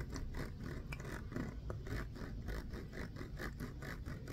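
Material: Plastic.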